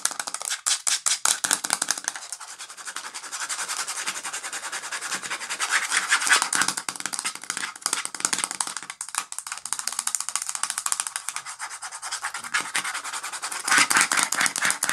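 Long nails rub and scratch along the ridged edge of the red plastic lid on a full, clear plastic peanut jar. The result is a dense, bright, rapid rasping with no low end, running steadily with louder scratchy bursts at the start, around the middle and near the end.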